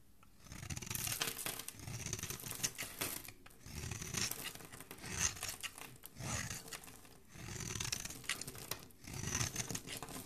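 A flat metal blade scrapes and shaves the face of a hand-held, solid oval bar of purple streaked soap with an embossed logo, curling off fluffy shavings. The result is a series of long, dry, crackly rasping strokes with a bright, hissy edge and a soft low thud beneath, separated by brief quiet pauses.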